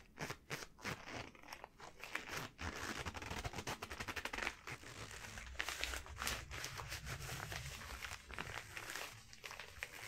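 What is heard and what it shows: Long glossy yellow rubber gloves worn on both hands are rubbed and wrung together with the fingers interlaced, producing quick rubbery squeaks and crinkly friction. The sound runs almost continuously, with bright, crackling textures over a soft low rumble and short bursts that rise and fall throughout.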